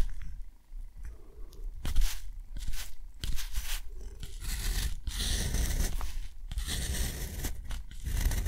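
A metal dip pen nib scratches short strokes across thick, textured cotton paper, drawing small geometric shapes and a box around them. The result is a run of dry, bright scratching bursts separated by brief pauses, over a steady low rumble.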